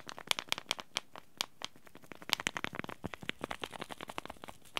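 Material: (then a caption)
Paper-foil laminate. Fingers crumple and fold a small white and teal Yogi Tea sachet made of paper-foil laminate with a tea bag inside. The result is a quick, irregular run of sharp, bright crinkles and crackles that stop dead with no ring, over a quiet, thin low end.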